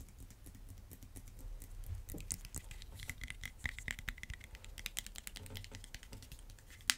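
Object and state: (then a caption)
Vinyl-coated dumbbell tapped. Fingernails and fingertips tap a solid red vinyl-coated hand dumbbell with black rubbery rims in a quick, irregular run of light, dry clicks. Each tap is short and bright, with a faint ringing tone near 2 kHz, over a soft low rumble. The sharpest, loudest tap lands at the very end.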